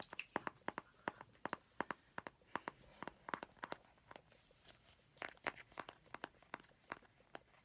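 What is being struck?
Small plastic mint tin.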